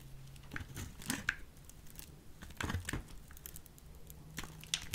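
A solid peach soap bar, scored in a grid, is crumbled and carved with a small metal blade. Dry scraping and crisp crumbling crackles come in bursts of bright, brief clicks over a low, steady hum. Each crackle stops almost at once.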